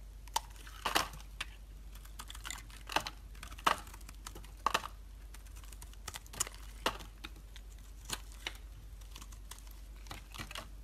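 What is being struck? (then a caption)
Bar of soap. A metal utility blade scrapes across a solid white bar of soap held in the hand, shaving off thin curls. The result is a quiet, irregular run of crisp, bright scraping clicks and short crackles over a faint, steady low hum.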